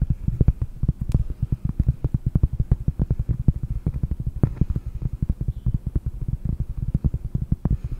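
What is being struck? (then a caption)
Cork board. A round, solid cork board held close to the microphone is tapped rapidly with long painted nails. Each tap is a short, dull, low thud with almost no ring, forming a fast, steady stream of muffled knocks with no bright edge.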